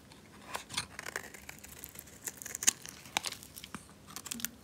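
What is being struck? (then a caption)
Bar of soap scraped with a blade. A solid, dry, red rectangular bar of soap, held in a hand with long nails, is scraped and shaved with a metal utility knife blade, and flakes fall off. A series of short, dry, crisp scraping and crunchy crackling bursts are heard, almost entirely high and bright with very little low end. They are quiet and stop sharply with no ring.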